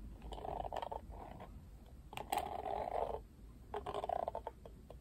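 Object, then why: Plastic paddle hairbrush back. Fingernails tap and scratch the flat, printed plastic back of a Barbie plastic paddle hairbrush that has been turned over. The result is a hollow, mid-pitched rasping in three short bursts, with quick bright taps mixed in against quiet low background noise.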